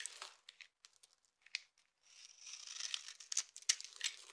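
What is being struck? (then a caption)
Bar of soap. A utility knife blade scrapes and cuts a dry, hand-sized solid purple soap bar with an embossed surface, held in one hand, into crumbly shavings and small cubes. Quiet, bright, crisp crunches and scratches come in irregular short bursts at first, then merge into a denser, continuous scraping with sharper crunches toward the end.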